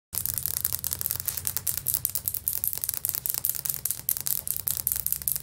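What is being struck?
Ceramic floor tile.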